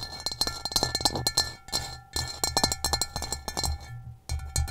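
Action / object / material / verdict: tap / upside-down ceramic bowl with a rough stone-textured base / ceramic / none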